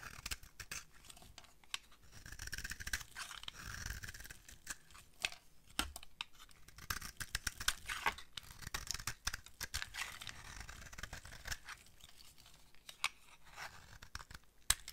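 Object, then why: Bar of soap shaved with a metal blade. A palm-sized, solid white bar of dry soap with a scalloped edge, held in a hand with long blue-painted nails, is shaved and carved with a metal utility-knife blade. Dry, bright scraping and scratching strokes come as many quick, crisp cuts. Soap shavings pile up on the table.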